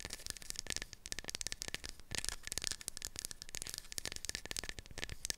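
A light, solid, palm-sized wooden block with round dimples, round holes and a scalloped edge is held in both hands while long acrylic nails tap and scratch the wood. Rapid, dry, bright clicks with no ring mix with crackly scratching throughout.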